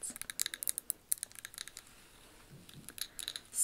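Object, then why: Wax-filled ribbed glass candle jar. A blue ribbed glass candle jar filled with wax is held in the hands and tapped and scratched along its ribbed sides with long acrylic nails. A quick run of sharp, bright, high-pitched clicks with almost no ring gives way to a quieter, scratchy stretch, then more light taps and a louder rasp at the end.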